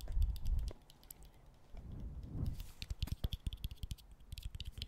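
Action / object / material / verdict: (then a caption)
tap / bottle cap / unknown / none. A bottle cap is tapped, giving a few soft, low thumps, then a muffled scraping rustle, then a quick run of short, dry clicks with bright ticking edges.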